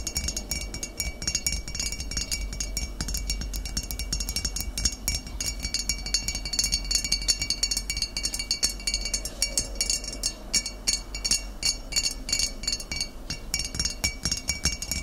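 Fingernails tap rapidly on the glass shoulder and the paper label of a full glass vinegar bottle filled with amber liquid. The result is a dense, steady stream of short, bright clicks and clinks with high glassy ringing tones that die away almost instantly, over a faint low hum.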